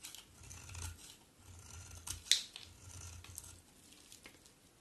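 A solid white bar of soap held in the hand is shaved with a metal utility knife blade in scraping cuts. Soft, bright, hissy scrapes come in a steady series over a faint low rumble, with one sharper, louder scrape near the middle.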